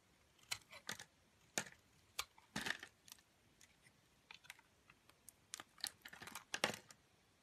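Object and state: Soap bar being carved.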